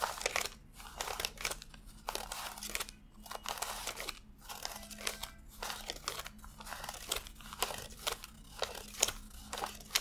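Fingertips flick and rub individual thin US $100 paper bills one by one while counting them from a stack fanned out on a desk. The result is a steady run of crisp, bright crinkling and rustling flicks with quick, dry snaps, over a faint, steady low hum.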